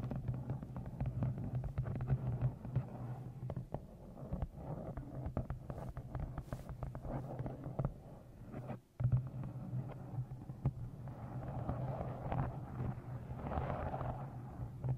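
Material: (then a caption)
Faux leather. Long nails tap the top edge and cover of a brown, leather-look book with an embossed floral cover, held against a microphone. The result is a dense run of quick, muffled low thumps over a deep rumbling bed, with almost nothing in the treble. A brief drop in sound near nine seconds is followed by a louder tap.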